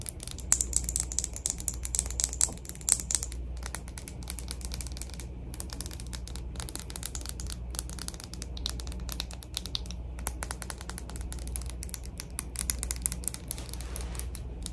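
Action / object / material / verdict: tap / plastic cosmetic primer bottle / plastic / none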